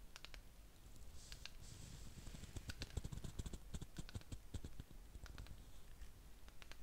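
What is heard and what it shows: A small round ceramic jar filled with wax and holding a lit candle is held in the hands and tapped with fingernails on its outer wall. The result is a quick run of sharp, bright clicks with almost no ring, over a steady low rumble.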